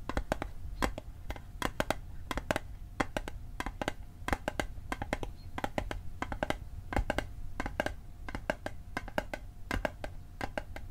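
A small hollow metal Altoids mint tin, held on its edge, is tapped on its sides and edge with fingertips and nails. The result is a quick, uneven run of sharp clicks with almost no ring, over a faint steady tone near 625 Hz and a soft low rumble.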